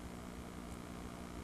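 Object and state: Nothing is struck.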